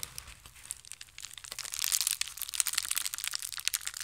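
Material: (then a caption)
Plastic. A blue and white plastic mailer bag, folded into a small bundle, is crushed and crinkled with the fingers. Dense, bright crackling and crinkling starts soft and grows louder and busier after the first second and a half, with almost no low end.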